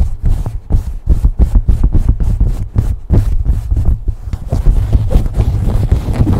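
A beige cotton baseball cap placed over a microphone is scratched and rubbed quickly with fingers and nails. The result is a fast run of muffled, deep thumping scrapes, with brief brighter scratchy streaks on top. The strokes blur into a denser, continuous rubbing toward the end.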